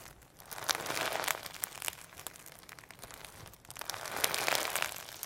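A firm, solid sequin hologram slime with pearl beads is stretched, folded and squeezed in both hands. It gives off dense, bright crinkling and crackling with sharp little pops, swelling in two louder bursts separated by a quieter stretch.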